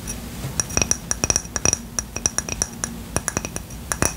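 A ceramic coaster bought at a craft store is tapped in a quick, irregular series of about 23 sharp taps. Each tap gives a bright, glassy clink with a high ringing tone that dies away almost at once, over a faint low background hum. The tapping comes across as quite loud.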